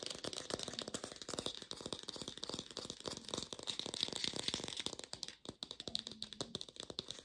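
An artificial plastic pear is tapped rapidly with a lo-fi sound. It gives a dense run of short, dry, rattling clicks that are bright and high with little low end. A faint low hum sits underneath near the end.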